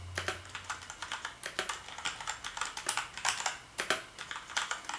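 Fingertips type on the keys of a black plastic gaming keyboard, producing a steady run of quick, bright clicks and clacks centered around 3 kHz. Each keystroke is short and dies away fast, with a faint low hum underneath at the start.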